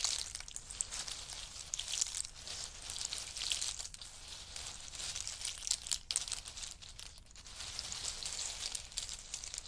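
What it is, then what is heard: In-shell pistachio pile. Fingers rake and scratch through a pile of in-shell pistachios resting on a fur mat. The hard shells make a steady, dense, bright clicking and crackling rattle with short sharp transients and almost no low end. The sound swells and eases gently throughout.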